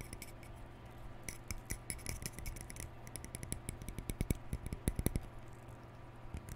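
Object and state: Plastic round hair brush.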